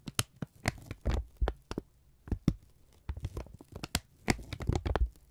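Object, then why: Thin kraft paper strip. A thin strip of brown kraft paper is flexed and rubbed between the fingertips and thumbs of both hands. It makes a quiet series of short, sharp crinkling crackles with bright papery edges, separated by soft rustling and brief silences. Each snap stops almost instantly.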